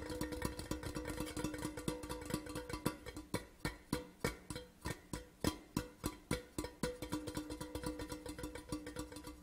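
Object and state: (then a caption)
Metal whisky tube. A hollow grey metal whisky tin tube lying on its side on a cloth is tapped quickly with the fingertips and nails of both hands. The result is a rapid, uneven stream of short, dry taps with a faint hollow ring around 300 Hz and a bright clicky edge, dying away almost at once.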